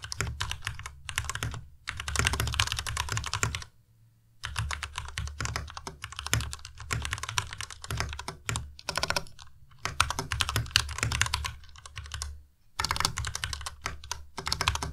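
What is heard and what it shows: Fingertips type on a white Ducky Miya Pro tenkeyless mechanical keyboard with plastic keycaps. Bursts of rapid, clacky keystrokes pair a low thock with bright, crisp clicks that die away almost instantly. Brief pauses fall around 4 and 12.5 seconds.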